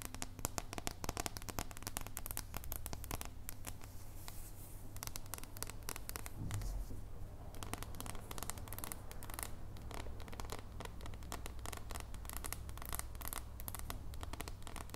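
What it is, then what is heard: Dark chocolate bar. Long painted nails tap and scratch rapidly across an unwrapped, flat, solid dark chocolate bar held in both hands. The result is a quiet, dense stream of short, crisp clicks and scraping strokes that briefly thins and scrapes more softly in the middle. A steady low hum runs underneath throughout.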